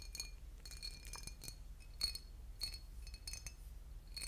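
A boot-shaped glass bottle with liquid inside is tapped and scratched, giving bright, short glassy clinks that ring high and fade almost at once. The clinks come irregularly over a steady low hum.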